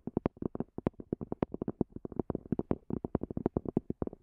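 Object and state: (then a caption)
Hard-shell earphone case. Long glossy fingernails tap rapidly on the top of a small black zippered EVA hard-shell earphone case, a hollow semi-rigid shell with a textured fabric cover resting on a fluffy rug. Over thirty short, dry, hollow taps with a muted low-mid body fall in an uneven, quick rhythm, each dying away almost instantly.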